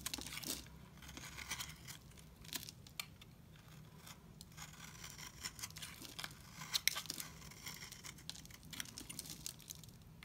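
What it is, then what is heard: Dry soap bar being shaved. A hand-sized solid white bar of dry soap, held in one hand, is scraped with a utility knife blade held in the other, shaving off curls and flakes. Quiet, dry, bright scraping and crisp crackling strokes repeat throughout over a low steady hum, with a few sharper peaks standing out.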